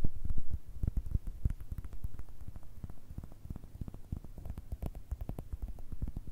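A palm-sized soft baseball with a leather-like cover and red stitching is held in one hand and tapped and scratched with long red nails. The result is a rapid, uneven series of dull, low thuds, about three per second, each dying away quickly, with faint scratchy texture between them.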